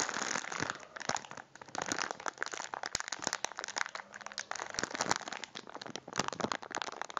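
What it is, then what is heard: Crinkly plastic biscuit wrapper. A full cylindrical packet of biscuits in a crinkly plastic wrapper is held in both hands and squeezed and crinkled with the fingers. It makes a steady run of dense, bright crinkling and crackling with many sharp snapping clicks and almost no low end, briefly easing off before picking up again.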